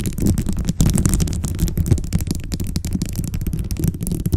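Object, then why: Plastic bead-covered microphone cover. Long blue-tipped nails on both hands tap and scratch a rounded microphone cover covered in colorful glossy plastic beads. The result is a dense, continuous run of quick, bass-heavy clicks and rattling taps with very little high-frequency content.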